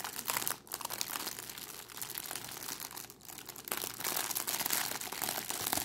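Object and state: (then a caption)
Crinkled cellophane bag. A crumpled clear cellophane plastic bag with a red price label is held in both hands and squeezed and crinkled by fingers with long decorated nails. It makes a dense, bright, continuous crackling with brief lulls, and the crinkling grows louder and busier in the second half.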